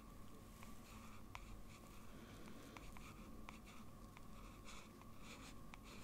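A blue fountain pen with a metal nib is drawn across a large flat sheet of white drawing paper on a desk in small strokes. It makes a quiet, steady scratching on the paper surface, with faint, irregularly spaced ticks over a low background hum.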